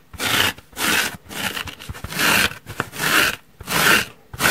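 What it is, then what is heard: Foam sponge scratched. Long nails scratch and dig into the top surface and edge of a large, soft, holey yellow porous foam car sponge. Repeated rough, bright scraping strokes come in uneven bursts, each separated by short quiet gaps.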